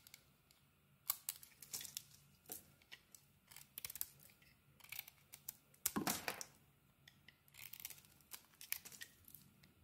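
A solid rectangular cream soap bar with a bright green coating, held in the hand, is shaved with a metal knife blade, and curled shavings come off. The quiet, bright, crisp scraping and crackling comes in short bursts, with one longer, fuller shave near the middle.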